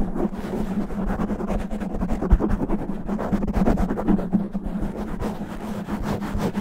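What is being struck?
Foam microphone windscreen.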